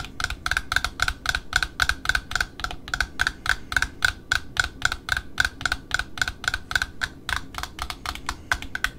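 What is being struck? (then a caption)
Cardboard spool of satin ribbon. Long metallic nails tap and scratch on a small black satin ribbon spool held in the hands, first on its printed cardboard end disc and then on the wound ribbon edge. A quick, uneven series of short, dry clicks comes at roughly four taps per second, each with a bright papery tick around 1.5 kHz. The taps die away almost instantly over a soft, low scratchy rustle.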